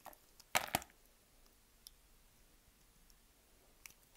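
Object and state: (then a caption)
Bar of soap being cut. A solid beige bar of soap, pre-scored into small cubes and held in one hand, is cut and scraped with a utility knife. Two loud, bright crunching cuts land close together early on, followed by a few faint, sharp clicks spaced apart against near silence.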